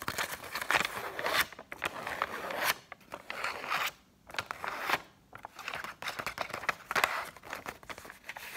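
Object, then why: Paper banknote. A single thin, flexible Egyptian paper banknote is held in both hands and scratched and flexed with long acrylic nails above loose banknotes lying on a table. Bright, crisp crinkling and rapid scratchy ticks come in dense bursts, broken by brief quiet gaps.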